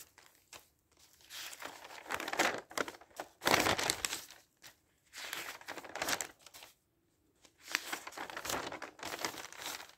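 Fingertips lift, turn and rustle a large spread of thin printed newsprint pages lying flat, producing bright, airy crinkling with almost no low end. The rustling comes in bursts of papery crackle separated by brief near-silent pauses as each page settles.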